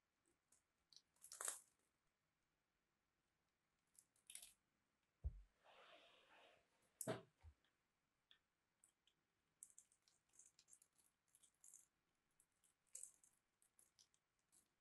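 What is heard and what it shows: A solid, palm-sized purple bar of soap is held in one hand and scored and scraped with a small blade, shaving off crumbly cubes. Irregular dry crunches and bright, crisp scrapes come in quick bursts, with a softer, sustained grinding scrape in the middle and a couple of low thuds.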